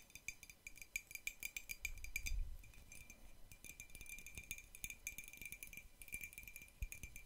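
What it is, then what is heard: Ceramic mug tapped with nails and paperclips. Long nails fitted with metal paperclips tap and rattle on the surface of a hollow, white printed ceramic mug held close to the mic. A quick, uneven run of sharp, bright clicks and clinks carries a steady ringing tone near 2 kHz, with soft low thumps underneath. Each tap dies away almost instantly, and the overall level stays quiet.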